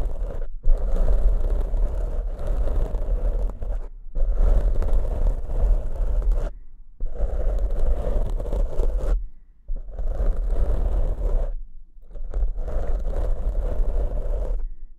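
Fingertips and short nails scratch and rub the soft, porous black foam windscreens on two studio microphones. Dense, rustling scratches come in a series of long bursts separated by brief silences, with a heavy low rumble dominating the sound.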